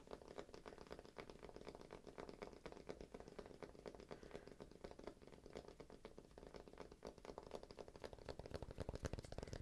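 A thick, solid, palm-sized round cork disc is held in the hand and tapped on its face and edge with fingertips and nails. The result is a quiet, rapid, uneven stream of soft, dull, dry taps and light scratchy clicks with almost no ring, weighted toward low tones. The taps grow a little louder near the end.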